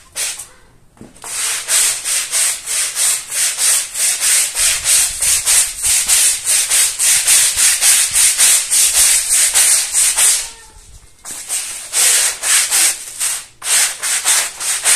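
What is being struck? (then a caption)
Wet woven fabric rug scrubbed with a plastic-bristle brush. A long-handled plastic-bristle brush scrubs the surface of a small, fringed woven fabric rug that lies flat on a tile floor, dirty with mud, wet and covered in foam. Rapid back-and-forth strokes make a steady, bright, hissing scrub, broken by a brief pause near the start and another about two-thirds of the way through before the scrubbing resumes.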